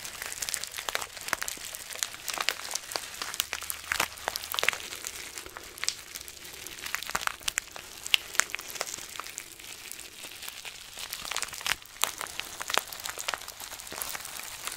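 Fingers squeeze and crinkle a small clear plastic zip bag full of green granules or beads, held in both hands. A steady, dense crackle of bright, sharp crinkles and tiny clicks runs throughout, with almost no low end and each snap dying away instantly.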